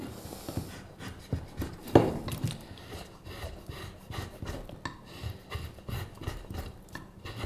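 A carving knife shaves the handle of a solid, pale wooden spoon blank held upright. Short, dry rasping scrapes repeat steadily, with one sharper, louder stroke near the two-second mark. Each scrape is mostly low and mid in tone and stops almost at once.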